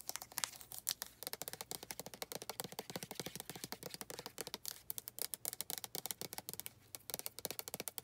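Long red nails tap the flip cap and scratch the body of a white plastic lotion bottle, making about sixty quick, dry, bright clicks and scrapes over eight seconds. Each tap is sharp and dies away almost instantly, with little low end.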